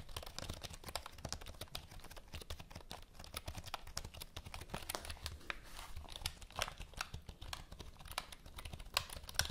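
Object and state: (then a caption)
Plastic computer keyboard. Long nails type and tap on the keys of a full-size black plastic HP computer keyboard held at an angle. A quiet, dense stream of fast, sharp clicks and taps with a bright, crisp edge and a soft low thump underneath, each tap dying away almost at once.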